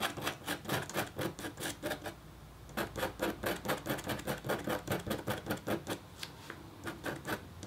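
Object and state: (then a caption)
Copper scratch art board being scratched. A metal-tipped stylus scratches a thin, solid, flat black-coated copper foil scratch art board. Quick, rhythmic, bright rasping strokes follow one another at about two per second, pausing briefly near the 2-second mark and again near the 6-second mark before resuming.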